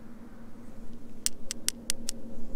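A patterned stone found while rock hunting on a hillside is struck in a quick series of short, sharp taps. The taps give off a bright, high-pitched, somewhat metallic click that dies away almost at once, over a steady low background hum.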